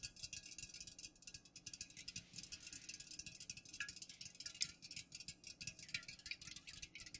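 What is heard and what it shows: Long nails fast-tap the sides of an unopened, full Pepsi aluminum can standing upright. The result is a quiet, rapid stream of bright, dry clicks with almost no ring or low end.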